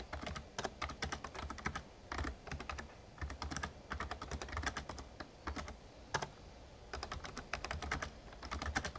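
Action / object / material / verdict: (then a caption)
tap / plastic membrane keyboard / plastic / none. Fingertips type steadily on a Razer Ornata Chroma, a full-size backlit plastic mecha-membrane gaming keyboard. The result is a fast, continuous run of short, muted clacks with a soft, low thud under each keystroke and a light, bright click on top, arriving in quick flurries with brief pauses between them.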